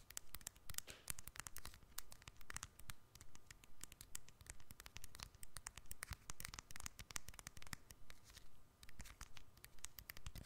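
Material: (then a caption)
Plastic. A small, hollow black-and-silver keypad cell phone with a plastic casing is held in both hands over the microphone and tapped and scratched with long fingernails. Quick, fairly regular clicky taps and bright scratches run in steady rhythmic bursts, with short, dry attacks over a low rumble.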